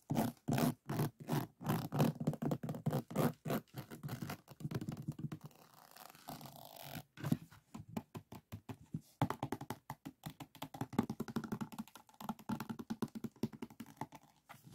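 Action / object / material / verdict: scrape / resin drills on a diamond painting board / resin / none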